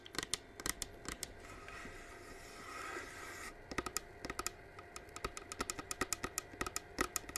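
Long nails tap fast on the side shell of a hollow white plastic flame-effect humidifier diffuser, running with mist and held close, making sharp, bright, typing-like clicks. The clicks pause for about two seconds, leaving a soft rushing hiss that swells, then resume in quick bursts over a faint steady hum.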